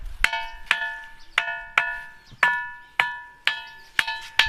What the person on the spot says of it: इस पत्थर को कहीं भी ठोको एक से ही आवाज़ आती है